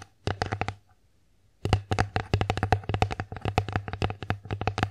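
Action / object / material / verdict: tap / wooden plate / wood / none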